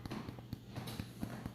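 Someone taps the top of a freshly baked spelt cheesy casserole bread just out of the oven, giving a series of short, dull, low hollow knocks. The hollow sound, along with the brown color, shows the bread is done.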